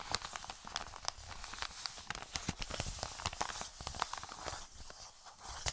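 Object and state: Paper mailer envelope.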